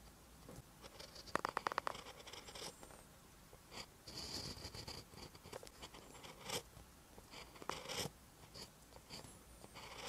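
A ballpoint pen tip writes on a lined paper notebook page, producing quiet, dry scratching strokes with brief bright scrapes and a few sharper ticks. The strokes come in short uneven bursts with soft pauses between them throughout.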